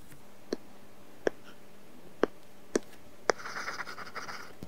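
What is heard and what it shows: A stylus tip works over an iPad glass screen fitted with a matte, paper-feel plastic film, making coloring strokes. Five short, sharp tick-like strokes come at uneven intervals, followed by a stretch of continuous, soft, papery scratching that ends in a final tick.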